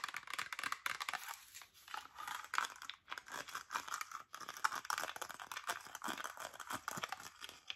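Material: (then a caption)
Plastic. Long acrylic nails tap and scratch a hollow, mostly empty clear plastic Diet Dr Pepper bottle with a red cap and paper label. The result is a dense run of quick, dry crinkly scrapes and clicks, centered in the midrange with bright edges and no low end, broken by brief pauses.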